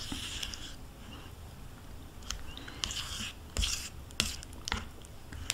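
A metal spoon scrapes the inside of a small, hollow plastic yogurt cup held in the hand, with yogurt residue still inside. Soft, bright scraping runs throughout, broken by sharp, irregular clicks and taps of the spoon against the plastic over a quiet, low background.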